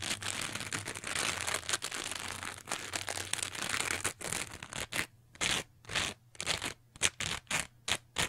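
A teal textured foam sponge with darker spots is scratched and squeezed with long nails. It makes dense, bright, crackling scratches for about five seconds, then breaks into short separate crinkly bursts with silent gaps between them.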